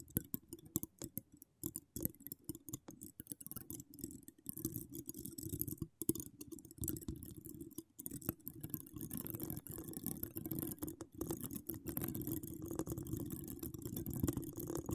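Long decorated acrylic nails scratch a hollow woven metal mesh microphone grille. The result is a dense, continuous run of quick clicks and rasping scrapes with a low rumble and a bright hiss on top. The scratching starts out sparse and choppy and thickens into a steady stream.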